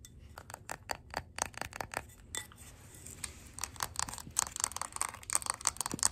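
Long gold acrylic nails tap and scratch a red glass candle jar filled with wax, held close, including its labeled bottom. Quick, bright clicks with almost no ring come in a rapid, uneven series. Soft scratchy hiss fills the gaps and grows busier toward the end.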